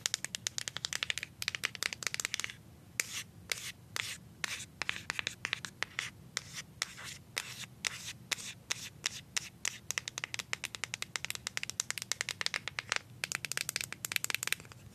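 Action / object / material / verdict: tap / plastic deodorant stick / plastic / none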